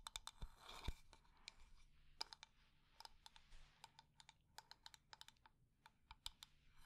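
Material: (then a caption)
Wood. A wooden decorative container is tapped quickly and at medium speed, and its textured surface is scratched. Crisp, bright clicks with very short ring come in rapid bursts over a soft scratchy hiss.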